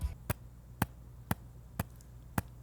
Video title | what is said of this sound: 8GB RAM Isn't Enough | my laptop's trackpad has a little rattle to it when you tap